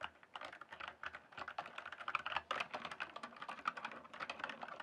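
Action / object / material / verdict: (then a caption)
tap / plastic mechanical keyboard / plastic / none. Fingertips type and tap steadily on the keys of a full-size RGB backlit plastic mechanical keyboard with a hollow case. Over about five seconds, a fast, uneven run of crisp clacks centres in the mid range with bright upper edges and almost no low end. Each keystroke cuts off almost instantly.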